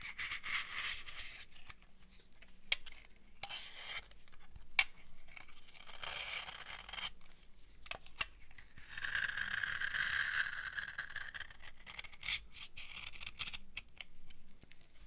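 A thin remaining bar of dry amber laundry soap, held in the palm, is scraped with a metal knife blade. Dry, crunchy scraping strokes come in bright hissing bursts, broken by sharp clicks and brief pauses. Around the tenth second a stroke carries a faint squeal near 2.3 kHz.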